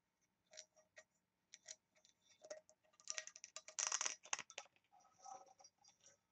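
Long nails rapidly tap and scratch across the lid of a small, oval, embossed and engraved brass box with a ring handle, held up in the air and appearing hollow. The result is quiet, bright, dry metallic clicks and scratchy bursts with almost no ring or low end, growing denser and louder in the middle before thinning out again.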